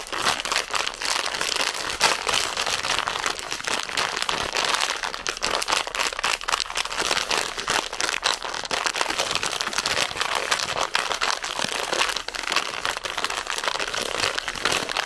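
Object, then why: Plastic confectionery bag. A full red plastic zefir bag is squeezed and crinkled with fingertips and nails, giving a continuous bright, dense crinkling and crackling. The sound stays steady and close for the whole clip, with almost no low end and rapid overlapping crackles.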